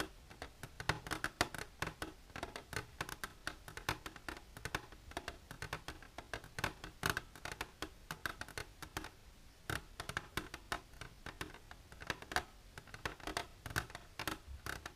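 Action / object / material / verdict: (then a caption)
tap / clear plastic container tapped and scratched with long nails / plastic / none. Long silver nails scratch and tap an empty, clear plastic container held upright. A dense, irregular run of sharp, dry clicks and scratchy rasps spans the clip, each tap bright and snapping off almost instantly with no ring.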